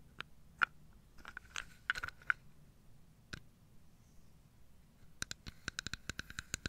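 Fingertips and nails rub and scratch along the grained outer wall of a carved solid wooden box holding dominoes, which is held on its side. Short, dry scratches with a bright, papery edge centered around 1.4 kHz come in scattered bursts, then in a quicker run of sharp scrapes near the end, over a quiet low background.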